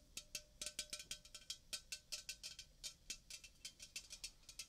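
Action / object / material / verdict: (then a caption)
tap / aluminium drink can / aluminium / none. A red Coca-Cola aluminium can, about 330 ml, hollow and apparently unopened and full, is held in the hand near the microphone and tapped and scratched with painted fingernails. About 26 quick, bright, high-pitched clicking taps sound in an uneven rhythm, each dying away almost at once, with very little low end.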